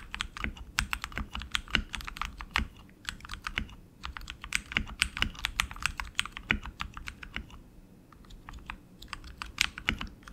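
Both hands type continuously with their fingertips on a tenkeyless RGB mechanical keyboard with tactile switches, plastic keycaps and an aluminum frame. Rapid, uneven bursts of sharp, bright clicks and clacks come with a light low thump under many keystrokes, and each hit stops almost instantly. The typing briefly slows and quiets near the end before picking up again.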